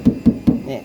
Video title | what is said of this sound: เปรียบเทียบกันเลยทำมัยรถรุ่นเก่า🚍ตัวถังรถถึงแข็งแรงกว่ารถรุ่นใหม่ๆ🚔👍 | ฟังเสียงเหล็กบางมากนะครับบางมากนี่คือตัวถังรถนี่บางมาก